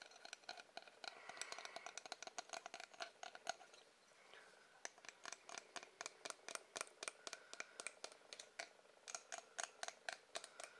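Fingers or nails tap a wooden object in quick, irregular bursts. The taps sound like sharp, dry clicks with a bright upper-mid tone and almost no ring. They come in dense rattling clusters early on, then spread into more distinct, evenly spaced taps.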